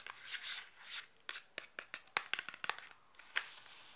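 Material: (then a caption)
Cardboard. Long black nails scratch and tap a small cardboard soap box held close, moving along its faces and edges. Soft, bright scratching swells open and close the clip, and in between comes a quick run of sharp, dry, papery taps that stop instantly with no ring.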